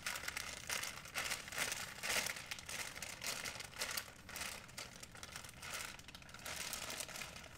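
An empty white printed plastic shopping bag of thin film is stretched and crumpled by fingers. It gives a steady run of quiet, bright, irregular crinkling and crackling with little low end, swelling and easing in small bursts throughout.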